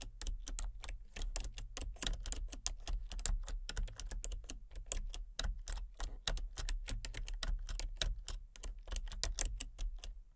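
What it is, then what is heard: Plastic computer keyboard being typed on. Fingertips type rapidly on a full-size plastic computer keyboard with a colour-changing backlight. Each keystroke is a short, crisp, bright click that dies away almost instantly, and the clicks run in a steady stream for about ten seconds over a constant low hum.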